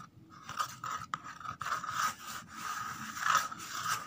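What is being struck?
Empty corrugated cardboard box.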